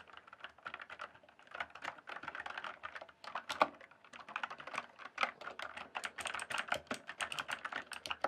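Fingertips type and tap across the keys of a full-size RGB backlit plastic mechanical keyboard with a hollow case. The result is a rapid, uneven stream of sharp, clacky keystrokes with a bright edge and very short decay, and a few harder taps stand out above the rest.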